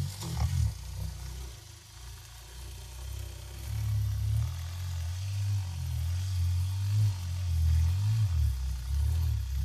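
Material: Nothing is struck.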